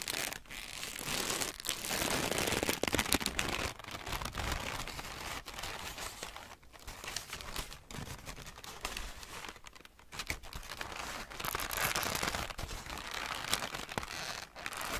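A large, loose sheet of thin greyish-brown packing paper is held up close and crumpled and crinkled by both hands with the fingertips. It makes a dense, continuous stream of bright, crackly rustling. The sound swells louder around the second to third second and again near the end, with quieter, sparser crinkles in between.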